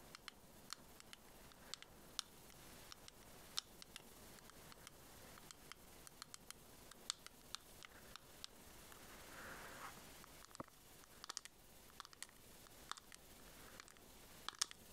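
Long acrylic nails tap and scratch a small, hollow, closed white plastic pearl case shaped like a scallop shell, held in both hands. Dozens of quiet, sharp, bright clicks and ticks fall in an irregular patter over a faint scratchy hiss, with a slightly louder, softer stretch of scratching near the middle.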